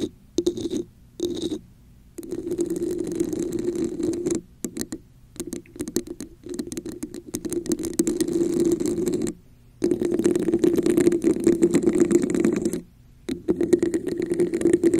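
Long nails tap and scratch across the top and sides of a hollow red textured plastic cup placed over a microphone. Bursts of dense scratching and rapid tapping carry a hollow, boxy resonance centered around 350 Hz, with faint bright rasp above. Short silent pauses break up the bursts.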